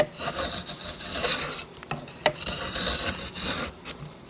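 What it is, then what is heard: Oak board being scraped. A steel drawknife blade is drawn along the surface of a flat, solid oak board with visible grain, about a hand wide and clamped in place, shaving and scraping it. Long, bright rasping strokes carry a steady high whistle-like tone, broken by a pause with a few sharp clicks before the scraping resumes.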